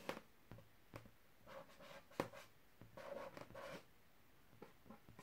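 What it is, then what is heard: Inflated latex balloon. A large, hollow, air-filled white latex balloon printed with a purple tiger, held on a carpet, is tapped and lightly scratched with a single fingertip and short nails. Nine quiet, soft taps with a hollow tone near 540 Hz are heard, mixed with short papery scratching rubs that die away almost at once.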